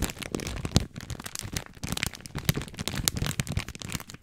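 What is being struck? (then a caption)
Plastic film package of dry spaghetti. Fingertips crinkle and scratch the plastic film of a long, full package of dry spaghetti, especially at its sealed end. The result is a dense, continuous run of sharp crackles and rustles with bright, crisp edges over soft, low bumps from the handled package.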